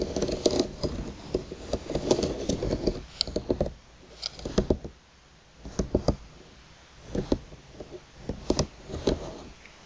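Long pointed nails tap and drag across the thin slats of a flat bamboo slat placemat lying on a table. Bursts of dry, sharp clicks and rustling scratches alternate with quieter pauses.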